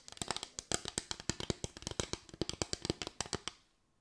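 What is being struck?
Bamboo slatted board tapped with fingernails.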